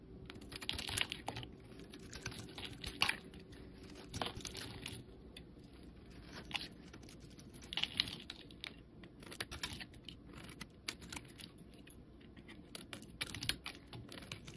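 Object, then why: Bar of soap scraped with a metal blade. A metal utility-knife blade scrapes and carves thin shavings off the surface of a solid, bright green bar of soap held in the hand. Quiet, crisp, crunchy scraping strokes come in irregular bursts, with bright rasping texture and short, dry attacks that stop almost instantly.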